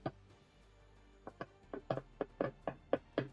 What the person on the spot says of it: sounds like wood almost and it's metal